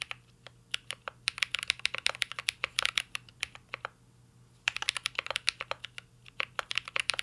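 Fingertips type continuously on a mint-green Cyberboard R3 mechanical keyboard with plastic keycaps and an aluminum case. Rapid, crisp, bright clacks come in quick runs with very short decay. A brief pause in the middle of the clip is followed by another burst of typing.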